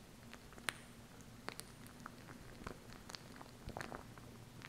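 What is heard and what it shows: Long nails tap and scratch the plastic tube and label of a small plastic glue stick with a red cap, held upright. Quiet, sharp, bright clicks and brief scratchy rasps are scattered irregularly over a steady low hum.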